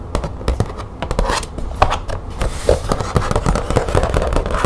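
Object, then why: Thin plastic folder. Long nails tap and scratch across a thin green plastic folder with grommets. The result is a quick, irregular run of short, dry clicks and taps over a soft scraping rustle, with a dull low thud under each tap and almost no ring.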